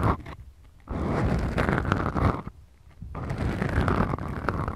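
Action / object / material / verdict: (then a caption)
scrape / foam microphone windscreens / foam / none. Fingertips and long manicured nails of both hands scratch two small black foam windscreens on the mic capsules of a Tascam DR-40X recorder. Heavy, low rumbling scrapes come in two long bursts, separated by quiet pauses.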